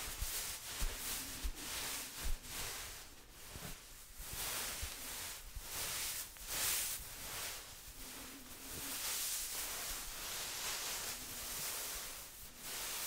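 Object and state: Nothing is struck.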